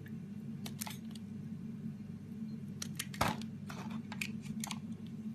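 A metal razor blade shaves the edges of a solid green bar of soap held in the hand into curls. Short, crisp scraping strokes sound at irregular intervals over a steady low hum. The sharpest stroke lands just after the three-second mark.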